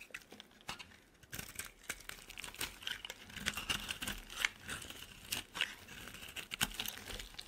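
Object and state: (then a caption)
Dry soap bar being carved. A utility knife blade scrapes and carves flakes off a dry, solid oval purple Dove soap bar held in the hand. The result is a steady run of crisp, crackly scraping and crunching, bright and dry with almost no low end. Short sharp cuts stand out along the way.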